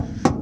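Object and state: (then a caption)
Fairly solid thin fiberglass panel. A hammer taps once on a thin section of a fiberglass trunk wall panel that has only a couple of layers, with more layers still to be added. It gives a short, dull knock with a low-mid body around 250 Hz that dies away almost at once over a steady low background. The section sounds fairly solid for so few layers.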